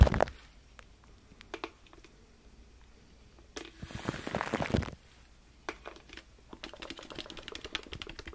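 Fingertips tap and scratch on aluminum foil wrapped around a large microphone, giving close, dull crinkly thumps heavy in the low end. A sharp tap opens the clip, a few sparse taps follow, then a dense scratching burst of about a second, and finally a quickening run of light taps to the end.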